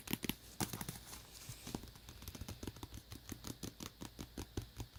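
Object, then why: Tablet cover. Fingertips tap quickly and lightly on a tablet cover, making dry, short clicks with a soft low thump beneath and bright crisp tips. The taps come in uneven bursts, with a few louder ones near the start, and each dies away almost instantly.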